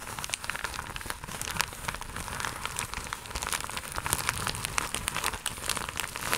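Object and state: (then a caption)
Plastic mailer pouch being scratched and crinkled. Long acrylic nails scratch and crinkle a flat, iridescent, croc-embossed holographic plastic mailer pouch. A dense, steady stream of bright crackles and sharp ticking scratches continues throughout, with quick dry snaps over a faint low rumble.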